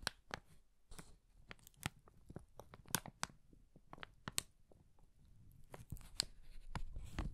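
An empty brown kraft paper bag, thin and hollow, is gripped at its top edge and crumpled in a fist. Quiet, sharp crinkles and crackles snap out in a rapid, irregular stream with bright highs over a soft low rustle, with no ring after each snap.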